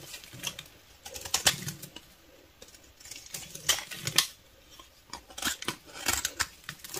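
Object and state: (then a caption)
Bar of soap being shaved. A solid beige bar of soap, held in the hand, is shaved with a snap-off utility knife blade, its shavings falling onto a dark table. Quiet, irregular bursts of dry, crisp scraping come through, bright and hissy with almost no low end, each stroke dying away quickly.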